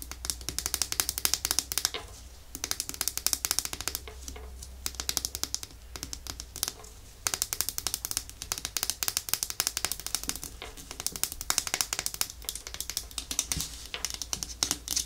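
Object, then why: Small glass nail polish bottle. A small, thick, clear glass nail polish bottle, full of clear liquid and with a black plastic cap, is tapped rapidly with long nails. The result is a dense run of bright, clicky taps with brief pauses near 2 and 7 seconds, and the cap is handled at the end.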